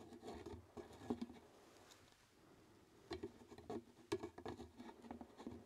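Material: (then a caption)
Plastic. Fingertips and nails tap and scratch a large, hollow, empty, white translucent plastic jar labeled RELAX, held in the hands. The result is quick, soft, hollow patter with a low-mid tone. Bursts of taps cluster at the start and again in the second half, with a quiet pause in between.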